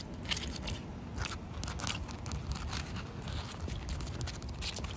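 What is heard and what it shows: Short painted fingernails and fingertips scratch and tap the rough surface of a large, solid outdoor concrete slab that is partly wet with puddles. Dense, gritty scraping runs steadily throughout, with a strong low rumble underneath and crackly bright flecks from many quick taps that blur into the scratching.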